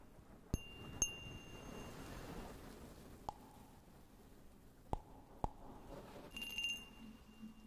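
A small, clear, hollow and empty cut-glass cup with a textured surface, held in one hand, is tapped six times with the fingernails of the other hand. Each tap gives a sharp click with a bright, high glassy ring that fades quickly, and the last tap sounds like a brief quick flurry. A soft, steady hiss runs underneath.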